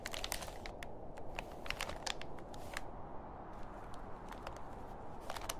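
Fingertips and a palm rub, grip and crinkle a large, thin, grey printed plastic shopping bag that lies empty and folded on a table. Dense, continuous crinkling fills the clip over a steady low rumble, dotted with sharp, bright crackles that snap and fade almost instantly.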